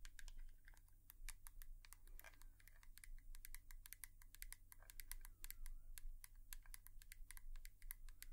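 A hairbrush is tapped with long nails in quick, uneven bursts. The result is a stream of sharp, dry clicks with bright, crisp tops and almost no ring, over a steady low hum.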